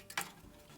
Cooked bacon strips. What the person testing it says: listen to how crispy it is